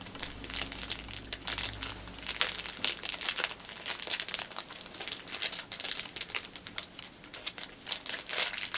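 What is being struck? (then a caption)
Small clear plastic packet. A small clear plastic packet is crinkled on a table, then lifted and crinkled between fingers with long nails. The sound is a dense, bright run of sharp crackles and rustles that swells and fades in bursts, with a faint low hum underneath at the start.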